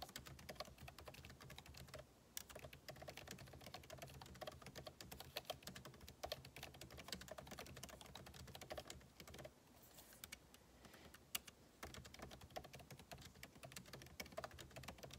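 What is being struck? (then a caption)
Laptop keyboard with plastic keycaps in an aluminium case. Two hands type with their fingertips on a backlit MacBook Pro laptop keyboard, its plastic keycaps set in a hollow aluminum case. A steady stream of short, bright key taps clatters with almost no ring, over a low background hum. The typing briefly pauses near the two-second mark and slows to a quieter stretch around the ten-second mark before picking up again.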